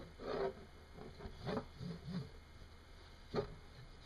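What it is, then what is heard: Hematite magnet scraping on wood. A single small, solid, oval, shiny hematite magnet spins upright and wobbles on a wooden desk, scraping and ticking against the wood. Quiet, dry rasping bursts come and go, with soft low ticks in between. Each burst is short with almost no ring.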